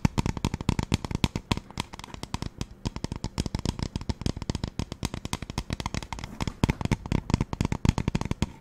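Long nails tap rapidly on the body of a hollow pink plastic spray bottle. Dense, quick clicks run in uneven bursts throughout, each dry and short with a hollow low body and a bright tick on top.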